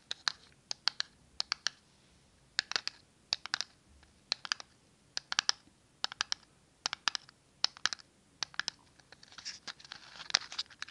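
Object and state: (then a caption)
Cardboard matchbox, tapped with nails. Long nails tap and scratch a small, closed red and white cardboard matchbox. Crisp, bright clicks arrive in quick clusters, each dying away almost instantly, with near-silent gaps between them. Near the end the taps give way to a denser, scratchy rustle.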